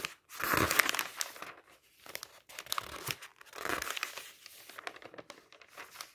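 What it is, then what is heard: Magazine pages being turned. A hand turns the pages of an open magazine of thin paper lying on a table, the fingertips crinkling and flapping the paper. Two longer bright rustling bursts stand out, followed by quieter crinkles and small ticks as the pages settle. The sound is papery and bright, with almost no low end.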